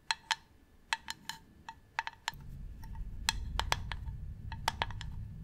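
Long nails tap on the side and top of a medium hollow varnished wooden box, giving a series of short, dry, hollow clicks with a woody tone and bright overtones that die away almost at once. About halfway through, a steady low rumble enters beneath the taps and continues to the end.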